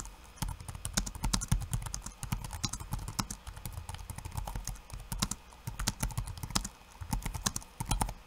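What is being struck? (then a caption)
Plastic laptop keyboard keys. Fingertips of one hand type quickly on a backlit laptop keyboard with plastic keycaps. The result is a steady, rapid stream of short, dry clicks and taps with a soft low thud under each press and brighter clacks on top, each dying away almost instantly. The typing continues throughout with only brief lulls.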